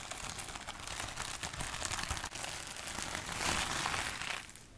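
Long acrylic nails scratch and tap across a large sheet of clear plastic bubble wrap held up in front of the body, producing a dense, bright crinkling and rustling with scattered small clicks. The crackle swells to its fullest near the end, then quickly fades away.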